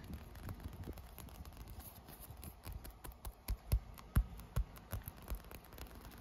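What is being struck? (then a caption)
Inflated textured vinyl pool float. Short fingernails scratch and tap across a blue inflated PVC pool float with a ribbed, textured surface. A soft, continuous scratchy rustle is broken by dull, low thuds from the taps. The taps fall in an uneven rhythm and get louder toward the middle of the clip.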